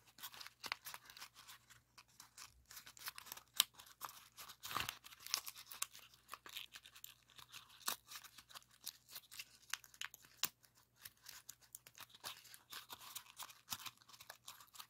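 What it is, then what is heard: Folded paper pop-it being pressed. Both thumbs press the hollow bubbles of a rainbow origami pop-it made of folded colored paper in orange, yellow and green rows. Quiet, bright, crisp paper pops and crinkles follow one another in a rapid, uneven stream, each cut off almost instantly, over a faint low steady hum.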